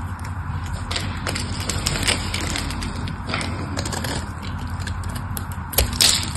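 A solid mauve soap bar held in the hand is carved with a craft knife, cracking off cubes. A steady dry scraping crunch runs throughout, dotted with many short, bright cracks and clicks over a low rumble, ending in a louder, sharper snap near the end.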